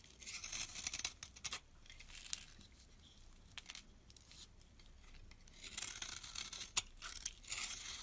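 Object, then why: Bar of soap scraped with a metal blade. A solid brown soap bar held in the hand is scraped with a metal blade, shaving off crumbly flakes. The sound is a bright, hissy scraping with crisp crackles, loudest in two long strokes at the start and near the end, with quieter scratching in between.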